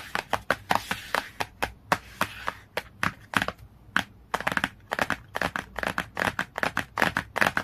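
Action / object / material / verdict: tap / glossy cardboard hardcover book / cardboard / none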